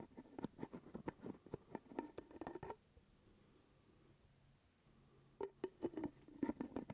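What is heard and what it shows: Fingertips and nails tap and scratch the top of the purple plastic screw lid on a small, full glass jar of grape jelly held near the microphone. Eighteen quick, soft, dry taps with a hollow mid-low tone fall in two bursts, separated by a quiet pause of about two and a half seconds.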